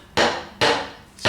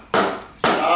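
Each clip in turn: First: slightly loose patio stone. Second: solid, well-bonded patio stone.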